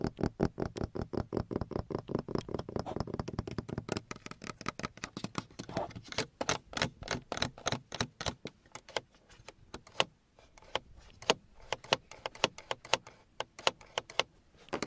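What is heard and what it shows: Fingertips and nails tap and scratch the molded grey plastic grab handle and hard, hollow trim on the passenger side of a car dashboard. A fast, dense run of dry, clicky taps fills the first few seconds, then gives way to sparser, sharper taps with quiet scratching between them.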